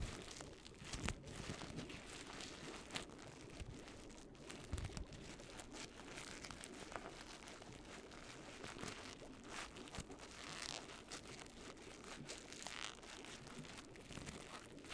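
A hand-sized, hollow orange crinkly paper pumpkin with a yellow-green stem is squeezed and crumpled with fingertips and long nails. A steady, close, quiet crinkling and crackling runs throughout, with dense bright rustle and small sharp pops.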